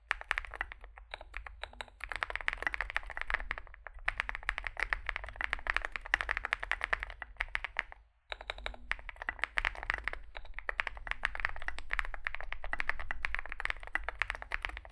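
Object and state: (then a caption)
Mechanical keyboard being typed on. Both hands type continuously with their fingertips on a compact 65% Zoom65 mechanical keyboard with an aluminium case, foam filling, lubed switches and SA plastic keycaps, resting on a desk mat. A rapid, dense stream of short, crisp clacks with bright tops rides over a steady low hum. The typing pauses briefly around the eight-second mark before resuming.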